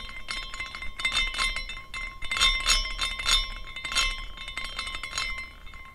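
A small glass carousel figurine with hanging glass horses spins after a push by hand, and the glass pieces clink together in a bright, continuous tinkling. Rapid, overlapping chime-like clinks rise and fall in loudness over the clip, with short ringing tails.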